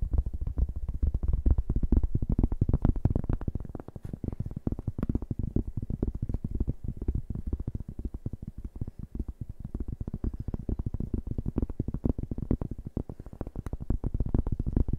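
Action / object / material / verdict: tap / round cork board / cork / none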